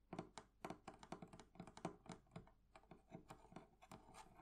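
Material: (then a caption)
Metal. Fingernails and fingertips tap on the metal fittings of a thrift-shop wooden barrel chest in an uneven run of quick, light taps. Each tap is a short, dry click with a faint low-mid ring that dies almost at once, with some softer taps and scratches between the louder ones.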